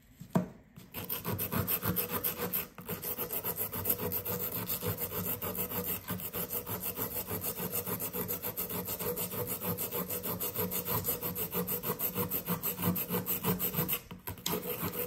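A solid blue compressed sand dig brick resting on a paper towel is scraped with a flat blue plastic chisel. Rapid, steady scratching strokes rasp across the block with a grainy, low-heavy texture, broken by brief pauses near the start, around the three-second mark and near the end. Sand spills away as the block is worn down.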